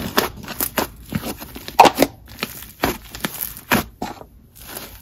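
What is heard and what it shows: Lavender purple butter slime is pulled, stretched into holey sheets and pressed with the fingers on a marble surface. Soft, bright crackles and sticky pops come in quick bursts, with many separate snaps standing out over a low rustle.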